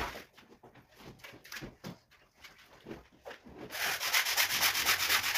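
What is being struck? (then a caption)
Woven fabric rug scrubbed with a bristle brush. A red-handled push brush scrubs a large, flat, wet woven rug covered in white foam on a marble floor. Bristle strokes rasp back and forth in a steady rhythm, at first quiet and separated. After about 3.7 seconds the scrubbing turns much louder and denser, with a bright, hissing texture.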